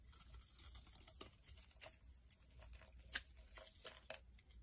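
A utility knife blade carves and scrapes the face of a solid rectangular soap bar, orange at the rim and pink inside, held in the hand, shaving it into flakes. Quiet, bright, crisp scraping and crackling cuts come in quick, dry strokes over a faint low rumble, with a few sharper snaps standing out.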